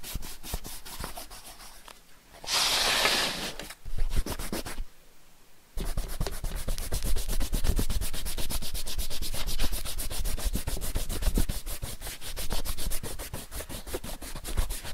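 A white rubber eraser held in the fingertips is rubbed back and forth across a thick paper page of an open sketchbook with ink drawings, lying on a wooden desk, to erase pencil lines and leaving eraser crumbs. Quick, dry, scratchy rubbing strokes run steadily over a low dull rumble, broken early by a short bright hiss and a brief quiet pause before the rubbing resumes.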